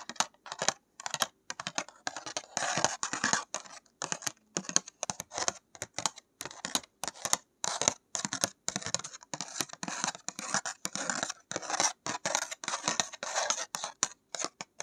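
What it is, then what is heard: Painted paper card. A small, postcard-sized thick paper card painted with a night landscape is held in one hand and tapped and scratched with long nails. It makes rapid, dry, crisp clicks and papery scratching in short bursts separated by brief pauses, bright and trebly with almost no low end.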